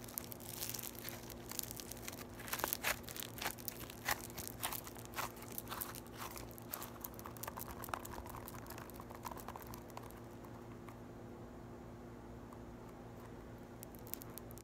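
A small, solid ball of yellow floam (foam beads in slime) is squished and poked by fingertips and long white nails, making dense, bright crinkling and crunching pops. The crackling is busiest for the first ten seconds, then thins to sparse clicks over a steady low hum.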